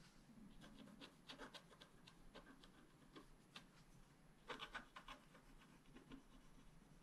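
A wooden stylus scratches a thin black-coated scratch-art card held flat on a table in repeated small strokes. Quiet, dry scratching is heard, with short bright scrapes standing out above a soft, low rustle.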